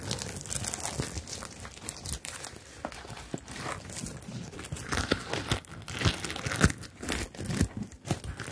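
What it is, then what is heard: Sequin fabric bag. Long acrylic nails scratch and brush across the plastic sequins of a medium, hollow, rainbow sequin-covered zippered bag held upright in front of the mics. The result is a steady, crinkly rustle with irregular bursts of brighter scratching and soft low thumps that rise and fall throughout.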